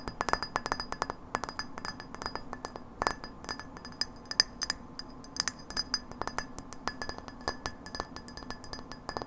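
Long nails tap rapidly on a hollow incandescent frosted glass light bulb held by its metal base. The result is dozens of quick, dry, high-pitched clinks that stop almost instantly, over a soft background hiss.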